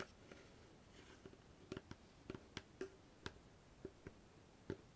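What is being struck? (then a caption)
Small wooden box with metal fittings. Long fingernails tap the lid of a small, hollow wooden treasure-chest box with a metal latch and studs. A quiet, irregular series of sharp, dry clicks sounds, each with a hollow wooden knock around 400 Hz and a bright tick on top. Every tap dies away almost instantly over a faint steady hiss.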